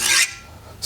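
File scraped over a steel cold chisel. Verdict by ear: Hard.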